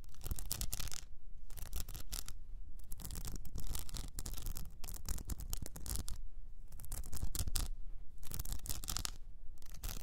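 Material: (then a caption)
Rhinestone. Long nails scratch and grip the blue rhinestone mesh wrapped around an upright cylinder, making dense, gritty scratching that runs in bursts with brief quieter gaps. The scratching has a bright crackle over a strong low rumble.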